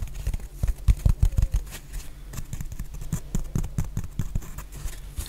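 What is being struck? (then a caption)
Foam sponge block. A hand-sized, solid, rectangular black foam block is tapped and scratched with long painted nails. It makes a stream of soft, dull, low taps with quick decay and faint scratchy texture between them. The tapping is loudest and densest near the start.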